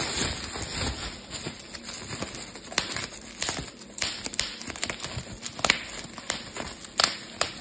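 A clear plastic bubble wrap sheet is twisted into a roll between both hands, popping its bubbles. Sharp, bright pops burst out irregularly over a steady crinkling rustle of plastic, with most of the energy in the high range and each pop dying away almost instantly.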